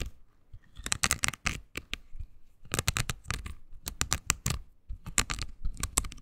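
Long green nails scratch across a small oval pink silicone body scrubber pad with nubs, solid and flexible. Clusters of quick, dry, bright scratchy crackles come in three bursts separated by short quiet gaps, with a soft low rumble underneath. Each scrape stops dead with no ring.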